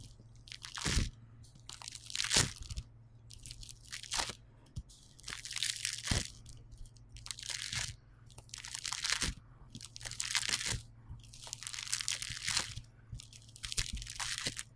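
A yellow lump of polystyrene bead foam clay on a table is squeezed, pressed and torn apart by fingertips. It gives bursts of bright, crunchy crackling that rise and fade irregularly over a low steady hum.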